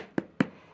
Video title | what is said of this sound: Les Tarots Celtiques 🧚‍♀️☘️ Deck Walkthrough | it sounds Hollow when you knock on it